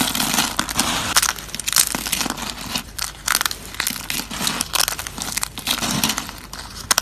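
Thin, flat, dried green soap slices are crushed and crumbled between fingers on a table. A dense run of dry, crisp crunching and crackling comes in bright bursts with sharp snaps. There is very little low end.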